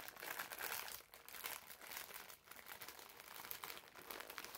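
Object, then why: Foam sponge in plastic film. A green foam bath sponge sealed in clear, labeled plastic film is held in both hands, squeezed and crinkled with the fingertips. The result is a steady stream of bright, crackly plastic crinkling with almost no low end, rising and falling in loudness as the grip tightens and relaxes.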